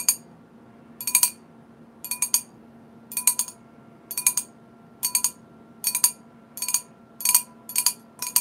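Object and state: Wine glass tapped with nails.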